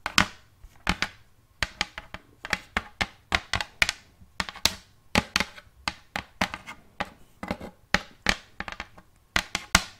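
A round wooden plate lying flat in front of the microphone is tapped with the long painted nails of both hands, about 33 quick taps in an irregular, uneven rhythm. Each tap is a short, bright click with a hollow woody knock near 1.4 kHz that dies away almost instantly, over a faint low hum.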